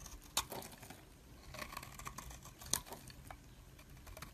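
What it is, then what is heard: Bar soap being shaved with a blade. A metal blade scrapes thin shavings off a solid, hand-held purple-and-white swirled bar of soap. The quiet, dry pattering scrape is bright and crisp, with two sharper clicks standing out early and midway through.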